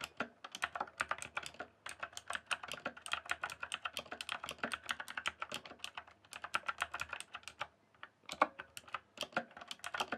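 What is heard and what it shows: Fingertips type rapidly on a rainbow-backlit mechanical keyboard with plastic keycaps, producing a dense, steady stream of sharp, bright clicky keystrokes with very short decay. The typing runs continuously for about ten seconds, with a brief pause just before the 8-second mark before the rapid clicking resumes.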